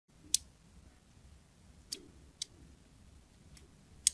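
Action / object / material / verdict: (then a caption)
scrape / glycerin soap bar scored with a craft blade / glycerin soap / none. A small black craft blade scores and scratches a criss-cross pattern into the surface of a hand-sized, solid, translucent green glycerin soap bar held in a palm with long painted nails. Five short, sharp, bright clicks sound as the blade catches the soap, with a faint low hum between them.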